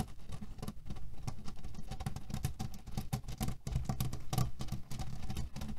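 Fingernails tap and scratch fast along the top edge of a cotton canvas pillow filled with cherry pits. The result is a dense, steady patter of soft, low thuds with faint bright rattles from the shifting pits inside.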